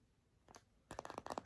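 Long nails scratch and tap a white, hollow-ish plastic deodorant stick container with a paper label. A faint scratch comes first, then a quick run of sharp, hollow plastic clicks with a mid-pitched ring that dies away almost instantly.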